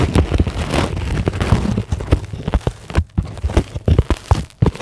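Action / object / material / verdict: tap / polyethylene foam sheet / polyethylene foam / none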